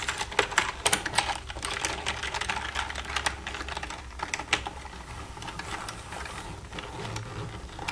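Long red nails tap and type quickly across the keys of a black plastic computer keyboard. The result is a dense stream of short, bright plastic clicks, with the sharpest taps in the first seconds, over a faint steady low hum.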